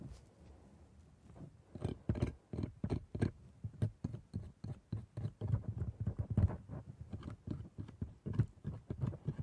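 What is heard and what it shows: A steel scaler, held in a blue-gloved hand, scratches and scrapes between and along the plastic teeth of a dental model with red gums. It makes a quiet, steady series of short, dull scraping ticks with little ring. Most of the energy sits in a soft low thump under each stroke.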